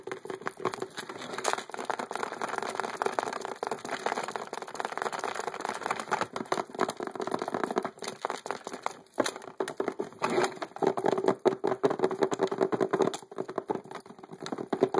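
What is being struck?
Hard plastic poker chip case.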